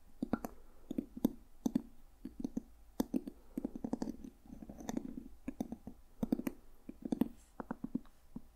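Fingertips and nails tap and scratch the solid cover of a dark red leather journal with a brass owl emblem. Quick, dry, muffled taps with a low-mid body die away almost instantly, coming in uneven bursts over soft scratching across the cover.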